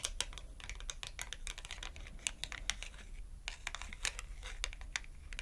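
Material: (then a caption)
Cardboard. Long acrylic nails rapidly tap the edge of a small red glossy cardboard clothing tag held edge-on. The result is a quick, irregular stream of sharp, dry, bright clicks that stop almost instantly, like keyboard typing, over a steady low hum.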